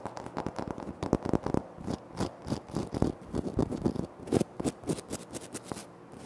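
Bare fingertips and short nails tap and scratch the surface of a large, flat, solid grey-white speckled granite-like floor tile in front of the recorder. A quick run of short, dry, crisp taps is interspersed with brief scratchy strokes. Each sound stops almost instantly with no ring.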